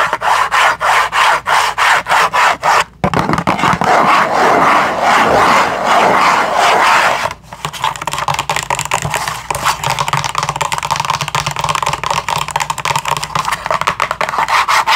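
A small cardboard package with a window showing pink bamboo toothbrushes inside is held up and scratched and tapped with long acrylic nails. Quick rhythmic scratching strokes give way to a steady dry scraping rub from about 3 to 7 seconds, then rapid tapping and scratching resumes for the rest of the clip.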